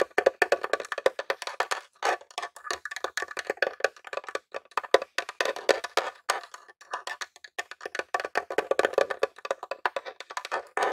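Fingertips and nails tap rapidly on the top of a grey plastic Nintendo mini game console, a hollow box. The result is a dense stream of short, dry, hollow clicks with a woody tone around 535 Hz and bright tips, each dying away almost at once.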